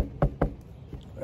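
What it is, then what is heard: Delaminated spot on a surfboard deck. Knuckle knocks on a soft bubble in the fiberglass deck of a fiberglass-over-foam surfboard give short, dull, low thuds that die away almost instantly. The spot sounds different from the solid rest of the board because it is delaminated, with the glass no longer stuck to the foam underneath.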